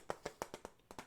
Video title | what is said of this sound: Guess The Trigger (Soft Spoken) | the very obvious glass tapping on the front